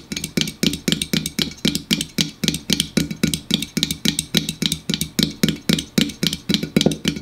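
Fingers rapidly tap and drum on an aluminum store-brand diet soda can, making about 37 quick, short, hollow clicks over roughly seven seconds. Each tap has a bright metallic tick above a low resonant tone near 215 Hz that fades almost at once.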